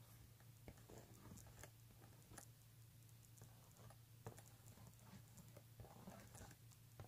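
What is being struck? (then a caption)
Embossed leather handbag. Fingertips and nails tap and scratch the front panel of a pink embossed leather handbag lying flat, making quiet, dry clicks and brief bright scratchy ticks. A steady low hum runs underneath throughout.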